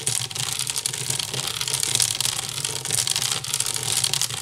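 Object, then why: Woven wicker basket. Fingertips and nails scratch fast on both sides of a hollow, empty woven wicker basket. The result is a dense, continuous bright rasping that holds a steady level for the whole clip, with very little low end and only brief, quickly fading flicks within the texture.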